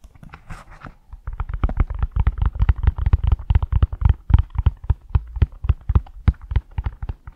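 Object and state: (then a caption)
Leather high-heel shoe tapped. Fingertips and short nails tap and scratch the smooth outer surface of a single hollow, empty black leather (or faux leather) stiletto pump held in both hands over the mic. A brief soft, bright scratching opens the clip, then about forty quick, unevenly spaced taps follow as dull, deep thumps with almost no ring.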